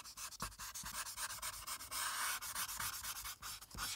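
A plastic alcohol marker with a broad felt tip, held in a hand with long red nails, rubs and scratches back and forth across a thin sheet of white printed paper resting flat on a dark clipboard, filling in a blue background. Rapid, dry strokes give a steady, bright, hissy scratching with almost no low end, swelling into a longer, louder rub near the middle.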